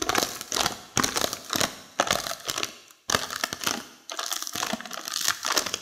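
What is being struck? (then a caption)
Plastic snack packet of seaweed. A plastic seaweed snack packet full of crisp seaweed is crinkled and pressed with long fingernails, and near the end the nails pick at the seal. The result is bright, crackly crinkling in repeated bursts with short pauses between them.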